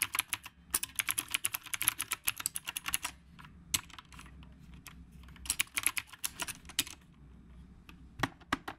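Steady two-handed fingertip typing on a retro typewriter-style mechanical keyboard with round plastic keycaps. Bright, sharp clicks come in quick bursts, with brief pauses between runs and a soft low hum underneath.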